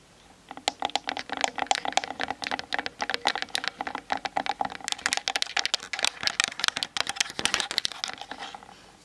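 Long nails tap rapidly on the top and sides of a Canon DSLR's hollow plastic body as it sits on a tripod, captured by the camera's built-in mic. The taps are dry, bright clicks with a faint hollow tone near 780 Hz and almost no low end. They come in quick, uneven bursts that stop instantly without ringing.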